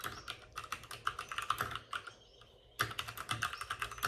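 A white full-size plastic mechanical keyboard with plastic keycaps and RGB backlighting sits on a desk with a padded wrist rest, and both hands type on it with short-nailed fingertips. Rapid, bright plastic clicks and taps come in quick bursts of about 23 keystrokes, with a brief pause in the middle before the typing resumes.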